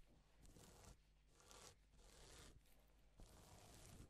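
A gloved palm and fingers rub over reversible plastic flip sequin fabric, mostly silver side up. The result is quiet, bright, scratchy rustling strokes that swell and fade at an uneven pace, over a steady low hum.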